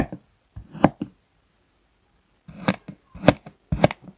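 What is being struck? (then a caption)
Kinetic sand slab cut with a metal knife. A metal table knife cuts and scrapes across a flat, round, solid purple kinetic sand disc resting on a wooden board, scoring it in a crosshatch. Short, dry, crunchy strokes come in irregular clusters separated by quiet gaps, each with a soft gritty scrape and a slight bright edge, fading quickly without ringing.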